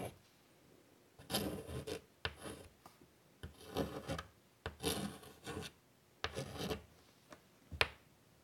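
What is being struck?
Chalk on a wood-framed chalkboard.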